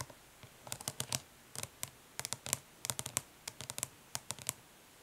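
Long nails tap and scratch the raised lettering on the lid of a flat, hollow plastic eyeshadow palette lying on cloth. Quick, bright, dry clicks come in irregular bursts with short scratchy strokes between them. Each sound dies almost instantly over a quiet background.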